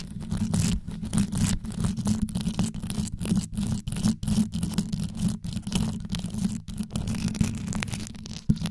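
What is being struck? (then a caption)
Metal microphone grille covered in rhinestones. Long yellow nails scratch fast across the rhinestone-covered grille of a metal microphone, the tips moving over the rows of stones. The result is a dense, rapid, low rumbling scrape, with most of the energy below about 250 Hz, little brightness, and brief dips between strokes.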